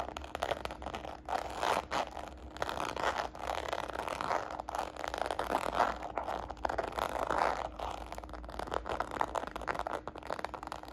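Long nails and fingertips tap and scratch the textured side of a small, hollow red glossy croc-embossed faux patent leather shoulder bag held upright. The result is a continuous run of quick, dry clicks and rasping scrapes centered in the mid-range, with a faint steady low hum underneath.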